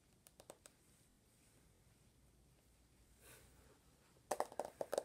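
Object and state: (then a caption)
Smartphone with glass screen, tapped. Fingertips and medium-length nails tap quickly on the glass screen and gold/rose plastic case of a small handheld iPhone held in one hand. A few sharp, dry clicks come first, then a quiet stretch with a soft brush, then a dense flurry of bright taps, ten short hits in all with almost no ring.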